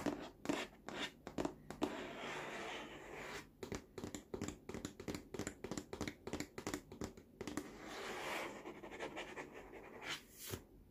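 Fingertips tap and scratch the large, hollow, molded green and orange plastic activity tray of a baby walker. Quick, dull hollow taps come in rapid bursts over a steady scratchy rasp. Each tap dies away almost at once.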